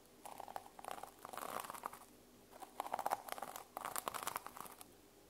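Long nails and fingertips scratch and brush the teal plastic sequins on the cover of a small notebook held in the hands. This produces crisp, crinkly, papery rustling in three quiet bursts separated by short pauses, centered in the midrange with a faint bright edge.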